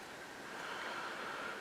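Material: Nothing is struck.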